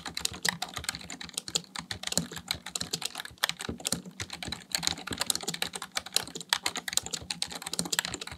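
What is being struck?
Plastic membrane computer keyboard.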